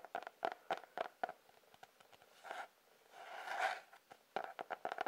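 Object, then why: Cardboard-covered sketchbook. A sketchbook with a cardboard cover is tapped with quick, dry taps that have a hollow midrange knock around 680 Hz. Between the taps come a few soft brushing or scraping swells, the longest and loudest one just past the middle of the clip.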